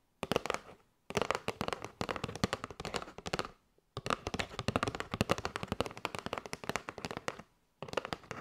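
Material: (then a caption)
Cardboard. Long nails tap rapidly on a kraft cardboard box with a window, full of paper straws. The crisp, dry clicks have almost no ring and a papery midrange body, arriving in four quick bursts separated by brief pauses.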